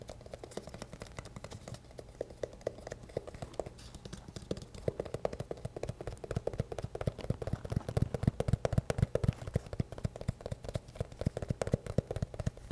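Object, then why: Rubber and plastic gas mask. Fingertips tap across the rubber surface and plastic lenses of a hollow black rubber gas mask with a filter attached at the bottom. The result is a steady, slightly uneven stream of quick, soft, dull taps, about four per second, with low hollow thuds and almost no ring.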